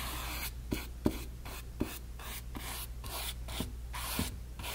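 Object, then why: Stretched cotton canvas panel brushed with a flat synthetic brush. A flat synthetic brush loaded with wet medium is brushed back and forth across a small, white, blank stretched cotton canvas panel, fabric over a hollow frame. Rhythmic, soft rubbing strokes make bursts of bright, airy swishing, separated by short quiet gaps and steady low background hum. Faint, short taps mark some stroke turns.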